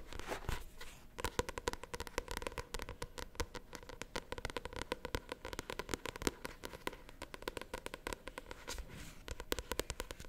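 Long nails tap and scratch rapidly on the glossy paper cover of a paperback novel held upright. The result is a dense run of sharp, dry clicks and crackly scratches with no ring, spread steadily across the clip.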